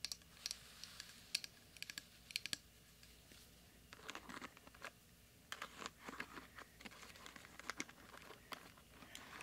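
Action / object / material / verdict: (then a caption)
tap / plastic hairbrush bristles / plastic / none. A small round pink plastic hairbrush with plastic bristles and a hollow handle is held in one hand while the fingertips and nails of the other hand tap and scratch across the bristles. The result is a quiet run of bright, sharp clicks and dry scratchy crackles that stop instantly, with brief louder bursts between softer stretches of rustling.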